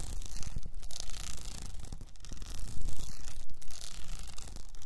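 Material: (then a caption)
Rhinestone. Long nails quickly scratch an upright cylinder wrapped in blue rhinestone mesh, sometimes with one hand. The result is a dense, continuous gritty rasping with a steady low rumble underneath and brief louder swells, without clean separate strikes.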